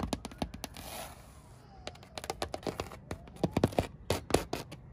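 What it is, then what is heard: Rough cement plaster wall. Long, manicured purple nails and fingertips scratch and tap across a flat, solid, rough grey cement-plastered wall. About two dozen sharp, dry clicks and taps come in quick, uneven bursts, with a brief gritty scrape early on. Each tap dies almost instantly against the textured plaster.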